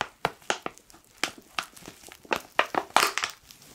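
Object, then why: Foil-laminate coffee pouch. A black foil coffee pouch is crinkled with the fingertips, giving a quick series of sharp, bright crackles with short pauses between them. The crackles are dry and papery with almost no low end, and each fades quickly.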